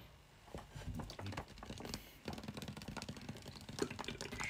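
A small, clear, hollow plastic water bottle with a white cap, partly filled, is held close and tapped quickly with fingertips and short nails. The result is a rapid, uneven stream of short, dry clicks with a dull, hollow low thump beneath them. Each tap dies away almost at once, with quiet bright edges on top.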